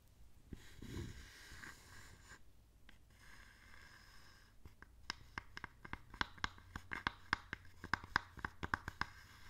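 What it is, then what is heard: Small wooden box tapped and scratched with nails. Long nails scratch and tap the side and front of a small, hollow wooden box with stamps inside, held in the hands. Soft scratching and rubbing fill the first few seconds. Then come around twenty sharp, dry taps with a hollow, bright click near 1.6 kHz that die away almost instantly.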